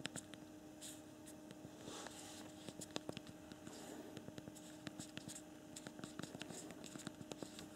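Both thumbs type on the backlit hard plastic QWERTY keyboard below the screen of a newer Android BlackBerry KEYone phone. It produces a rapid run of about 28 short, dry plastic clicks. The clicks sit over a faint steady hum.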